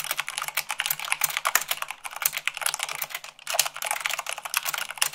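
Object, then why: Plastic mechanical keyboard. Long pink nails and fingertips type fast, at about 98 words per minute, on a full-size mechanical keyboard with white plastic keycaps on a black frame. A rapid, steady stream of short, bright plastic clacks fills the clip, with a brief pause just before the typing resumes.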